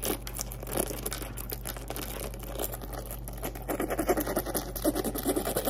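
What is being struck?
Soft-sided faux-leather zippered cosmetic bag.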